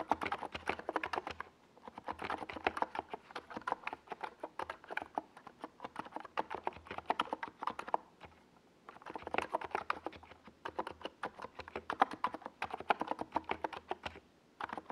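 Fingertips of both hands type fast on a compact 68-key NiZ Plum Atom 68 plastic mechanical keyboard with a white plastic case and purple and yellow Domikey Gas Attack SA plastic keycaps, resting on a desk pad. Dense runs of short, dry, mid-pitched clacks pour out in bursts, with brief quiet pauses near 2, 8.5 and 14.5 seconds.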